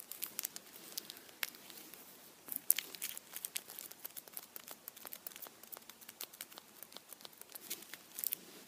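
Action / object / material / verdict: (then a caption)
scrape / chocolate bunny in aluminium foil / aluminium foil / none. A Kinder chocolate Easter bunny wrapped in blue aluminium foil is held in both hands while the foil is squeezed and rubbed with the fingertips. Dense, bright crinkling with many short, sharp crackles fills the clip, mostly high in tone with almost no low end, and stays quiet overall.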